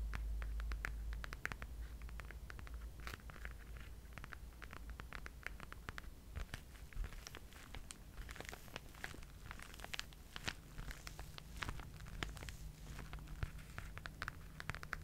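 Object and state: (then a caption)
Faux leather pouch. Fingertips and short nails tap and scratch the smooth flat front of a flat, blush-pink faux leather pouch with gold polka dots and gold 'Merveille' lettering, held upright in both hands and looking empty or thin. Quiet, dry, irregular clicks and scratchy brushes come in quick uneven bursts, each dying away almost at once, over a steady low rumble and hum.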